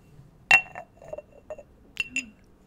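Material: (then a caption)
Ceramic. A small ceramic jar is tapped and handled, giving bright, glassy clinks with a ringing tone around 2.7 kHz. Three distinct taps stand out, the first at about 0.5 s being the loudest, with softer knocks and handling sounds in between. Each clink fades quickly.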